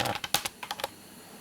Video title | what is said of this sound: Colin bunyan cooks Tiger Bread | if you knock the bottom or the top of it it sounds hollow if it does that it's done